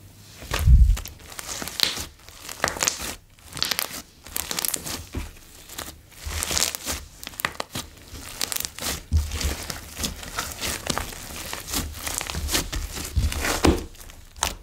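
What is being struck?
Slime with foam beads.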